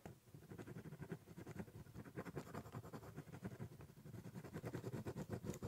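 A ballpoint pen draws quick lines across the top of a large, hollow, brown corrugated cardboard box. The result is a steady run of soft, scratchy strokes with a low, hollow thrum from the box, staying quiet throughout.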